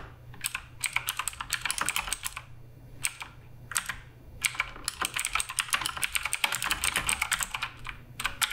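A black Redragon K588 Broadsword RGB mechanical keyboard with plastic keycaps is typed on continuously with the fingertips. Rapid bursts of bright, crisp clicks and clacks stop dead, separated by brief pauses, with a faint low hum underneath.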